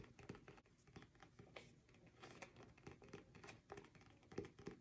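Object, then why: Paperback book with glossy card cover. Fingernails rapidly tap and scratch the glossy card cover of a solid, medium-sized paperback book, *Hearts of Fire*, held in both hands in front of the face. The result is a quiet, continuous stream of short, dry clicks and scratchy rustles with a low thumpy body and almost no ring.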